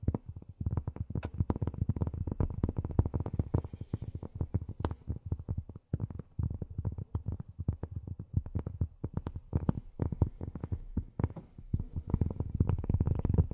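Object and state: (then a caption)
Cork tapped with fingernails. A piece of cork is tapped rapidly with long fingernails, producing a dense, continuous stream of short, dull, low thuds with almost no ring. The taps come in quick clusters with brief pauses, staying soft and muffled throughout.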